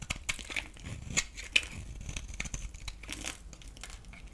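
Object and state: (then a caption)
Bar soap being shaved with a blade. A solid oval green bar of soap held in the palm is shaved and scraped with a metal utility knife blade, sending curls falling off. Quick, irregular crisp scrapes and crinkly shaving sounds come in a steady stream, bright and high with a few sharper ticks.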